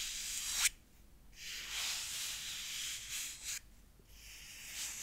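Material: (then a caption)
Bookcloth. Fingertips tap and rub the textured cloth front cover of a grey clothbound Frankenstein hardcover, held closed in one hand. Soft, bright, scratchy rubbing comes in long swishing strokes, broken by brief near-silent pauses.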